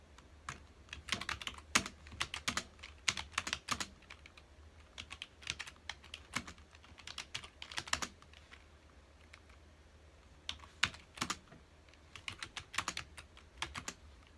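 Fingertips of both hands type on a full-size black plastic computer keyboard with hollow key housings, resting on a dark desk. Bright, hollow plastic clicks come in quick bursts separated by short pauses. Each keystroke dies away almost instantly over a faint steady low hum.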